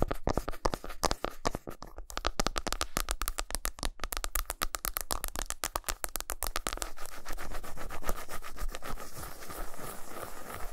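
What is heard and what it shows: Long nails scratch and rub the flat back side of a solid milk chocolate bar resting on a towel, leaving shavings. Quick, crisp scratching strokes come in rapid succession for about seven seconds, then blur into a steadier, continuous rubbing hiss until the end.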